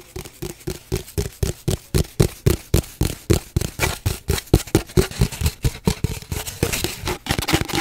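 Long nails tap and scratch along the surface of an empty, hollow cardboard paper towel tube held at an angle. About 38 quick, dull, hollow knocks sound at a steady rapid pace, each with a short papery scrape and almost no ring.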